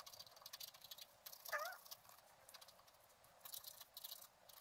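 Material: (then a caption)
Coated card. A wooden stylus scratches the coating of a flat, black-coated scratch art card resting on a table. Soft, bright scratchy strokes come in irregular bursts, with a brief squeaky, rising tonal chirp partway through. The overall level stays quiet, and the strokes stop without ringing on.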